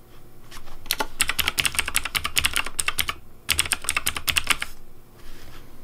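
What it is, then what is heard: Plastic mechanical keyboard. Fingertips type on the keys of a pink plastic Razer Deathadder V3 Pink mechanical keyboard with purple lighting. Rapid, crisp clacks have a bright click and a low thock underneath. There are two bursts of typing separated by a brief pause just after three seconds, and the sound tapers off toward the end.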